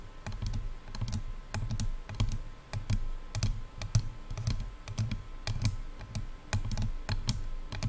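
Long nails tap rapidly on the hollow silver and black plastic earcups of over-ear headphones. The result is a dense stream of short, sharp clicks, each with a dull, hollow low thump and almost no ring, that sounds much like fast typing.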